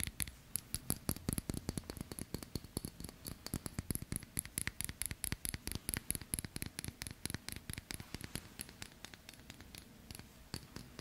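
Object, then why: Steel watch with metal link bracelet. A stainless steel watch with a metal link bracelet is held in both hands while fingertips and nails scratch and click against its links and case. About sixty sharp, dry clicks and taps come in quick succession over a soft scratching bed, each with a bright, glassy metallic tick and almost no ring.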